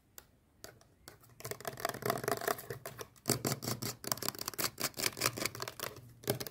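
Long painted nails rapidly tap and scratch the surface of a small, hollow teal plastic sunscreen tube held in both hands. The close, dry clicks and bright scraping come in fast, irregular bursts, starting sparse and quiet and growing denser and louder as the tapping continues.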